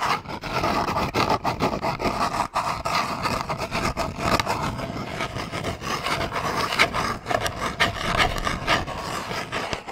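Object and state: Cardboard box scratched and tapped.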